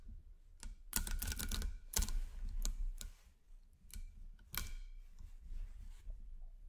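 A long chain of small solid 10 mm nickel-plated magnet cubes and spheres is fed by fingertips so the pieces click and snap together as it wraps in a ring around a microphone. Sharp, bright clicks come in irregular bursts, some in quick rattling clusters, over a low rumble.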